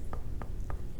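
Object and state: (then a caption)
Wooden spindle whorl, sounds like hard wood. Light taps on a Coast Salish spindle whorl, a flat, light tan disc of hard wood with visible grain that was used in wool weaving. Each tap is a short, dry knock centered in the mid range that dies away almost at once over a low background rumble. The tapping sounds like hard wood.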